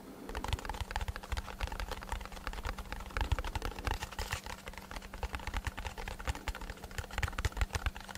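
A small, hollow brown kraft cardboard box held beside the microphone is tapped rapidly with fingertips and short nails. The result is a steady stream of dull, low, hollow knocks with crisp clicky edges that die away almost instantly, over a faint constant low hum.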